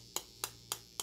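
A 3D-printed part made of Colorfabb expanding, foamed lightweight PLA, about one-half to two-thirds the weight of a denser print, is tapped four times. Each tap is a short, bright click that dies away almost at once and sounds almost hollow compared with the denser part.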